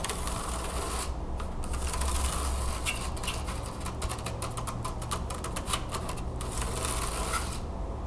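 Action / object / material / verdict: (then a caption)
tap / carved wooden hand fan / wood / none. Long nails scratch and tap quickly across the thin carved slats of a wooden hand fan lying open flat on a table. Dense, rapid dry clicks and scratchy rasps bring bright bursts over a steady low hum, at a fairly even, quiet level throughout.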